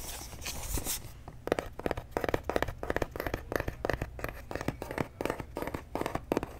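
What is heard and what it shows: A flat, hollow white cardboard box held in the hands is scratched and tapped on its surface with fingertips and short nails. A brief bright scratchy rustle gives way to a rapid, uneven series of dry, short taps with a hollow, papery knock.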